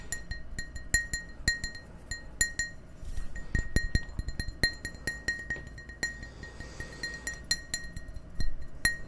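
Fingertips and nails tap an empty, hollow clear glass tumbler held in the hand, giving quick bright clinks with a steady ringing tone near 2 kHz and high overtones. The taps come in irregular, fast clusters over a low background murmur.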